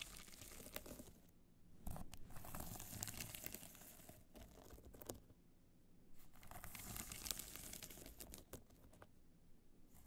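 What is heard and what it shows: Long nails scratch across the face of a hollow black hard-shell clutch covered in multicolor rhinestones, held in the hands. Bursts of bright, crinkly scratching alternate with quieter pauses, over a steady low rumble.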